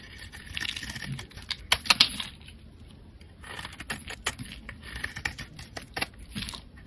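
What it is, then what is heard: Bar of soap scraped into flakes. A solid, pale green rectangular bar of soap, held in the hand, is scraped with a metal blade into flakes. Crisp, bright scraping and crackling come in two bursts with a short quiet gap between them, dotted with sharp little clicks as the flakes shave off.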